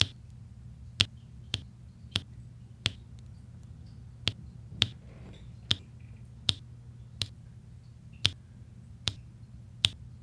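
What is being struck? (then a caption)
Resin drills on an adhesive diamond painting canvas. A flat adhesive diamond painting canvas covered in small solid resin drills is worked with a white plastic roller tip that presses and scrapes the drills and a pink plastic drill pen that taps them in. Twelve sharp, bright, clicky taps land at irregular intervals, each dying away almost instantly, with a faint soft scrape between them. A steady low hum runs underneath throughout.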